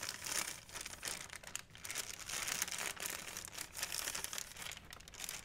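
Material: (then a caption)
Plastic. A large, thin, white, empty plastic Blick shopping bag, held by the handle, is crinkled and rubbed with fingertips and nails. The result is a steady, dense, bright crinkling with almost no low end, swelling and easing in loudness throughout.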